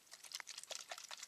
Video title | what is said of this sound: Tamiya 14002 1:12 scale Yamaha RZ250 Build video 9 | Hear that rattling? I've got balls in the bottom of there as well.